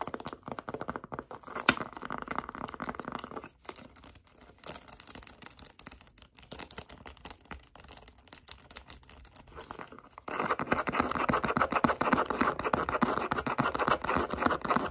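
Long acrylic nails rapidly scratch and tap a light-blue pebbled leather zip wallet held close, making a dense, crackly stream of short, dry, tearing-like scrapes and clicks. The sound sits mostly in the low-mids to around 2 kHz and grows louder and denser after about ten seconds.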